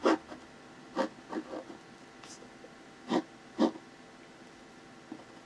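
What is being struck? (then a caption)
Paper sheet under a ballpoint pen. A hand makes short strokes with the tip of a clear plastic ballpoint pen on a thin white paper sheet bearing a pencil face sketch, lying flat on a hard surface. The result is a series of brief, quiet scratchy bursts, mostly low-mid with faint bright hiss, separated by near silence.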